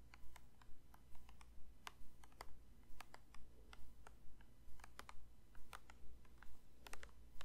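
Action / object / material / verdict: tap / plastic lotion bottle / plastic / none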